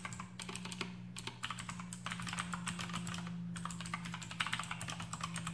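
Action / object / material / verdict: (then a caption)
tap / plastic mechanical keyboard with clicky switches fitted with rubber O-rings / plastic / none. A full-size black plastic mechanical keyboard with RGB backlight, Outemu blue switches fitted with rubber O-rings, resting on a desk mat, is typed on rapidly with the fingertips of both hands. A dense, continuous run of bright, clicky keystrokes rattles over a steady low hum, each click short and quickly damped.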